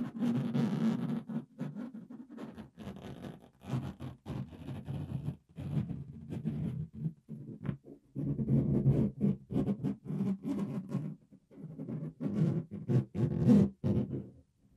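Fingernails scratch the surface of a green, inflated, hollow, air-filled latex balloon held in one hand near the microphone. The result is a series of irregular, rubbery squeaking and rasping strokes centered low around 200 Hz, each ending quickly with short pauses between bursts.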